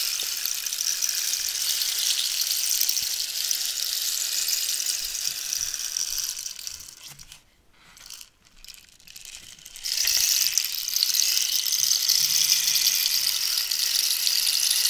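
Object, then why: Dried cactus wood rainstick. A hollow dried cactus-wood rainstick is held upright and then tilted while long nails scratch and tap its ridged wooden surface. It makes a dense, bright, hissing patter with almost no low end. The patter fades to near silence for a few seconds midway, then swells back to full strength.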